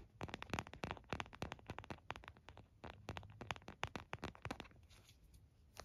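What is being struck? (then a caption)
Plastic phone case. An empty white frosted plastic phone case is held in both hands while the fingernails of both hands tap and scratch its back. The result is a quick, irregular stream of short, dry, bright clicks and ticks with light scratchy texture in between. The sound is soft and thins out toward the end.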